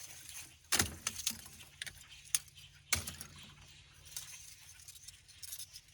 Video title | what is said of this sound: Make Your Own Beautiful Lump Charcoal | you want to hear that glassy sound